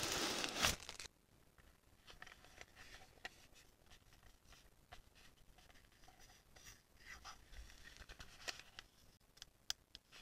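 A small, hollow, palm-sized pink plastic label printer shaped like a penguin is held in both hands and turned over while long painted nails rub and tap its smooth plastic shell. After a loud, broadband rustling burst at the start, the rest is quiet, with soft scraping and sharp, bright little taps scattered throughout.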